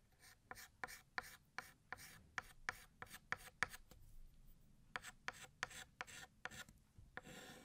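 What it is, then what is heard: Chalk writing on a chalkboard. A white chalk stick held in the fingers writes the word "Year" on a large, flat, solid black chalkboard. About nineteen short, dry scraping strokes tick out in quick bursts with a bright squeak near 1.8 kHz and a brief pause midway. The clip closes with a softer, longer rub of chalk across the board.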